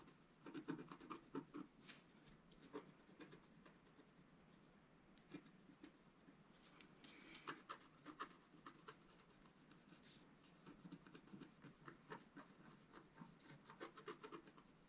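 A wooden stylus scratches fine lines into a flat, black-coated scratch-art sheet, about A4 in size, lying on a table while the other hand steadies it. Quiet, dry scratching and rasping strokes come in uneven bursts, with occasional sharper scrapes over a soft background hiss.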